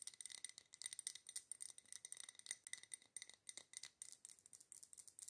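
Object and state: Glass candle jar.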